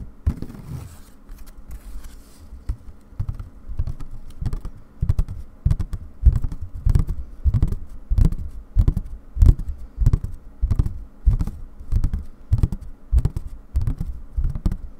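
Long dark nails tap and scratch on white fabric stretched in a wooden embroidery hoop, held tilted near the microphone. Soft, dull, low thumps repeat at an uneven pace of roughly one and a half per second. Each tap dies away almost instantly, leaving no ring.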